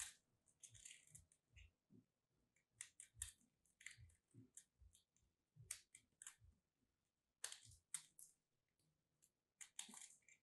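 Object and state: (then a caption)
Starch-coated soap chunk being cut and scraped. A metal craft blade slices and scrapes a solid lilac starch-coated soap piece held between fingertips, sending crumbs falling. Quiet, bright, crisp crackling scrapes come in short bursts separated by brief pauses, with soft low thumps underneath.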